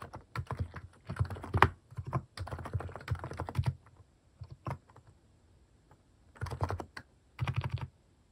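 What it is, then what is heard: Plastic mechanical keyboard. Fingertip key presses on a plastic mechanical keyboard fitted with cat-shaped keycaps, typed in quick bursts separated by short pauses. Each keystroke is a short, dull, low thock with very little brightness, and it stops almost instantly.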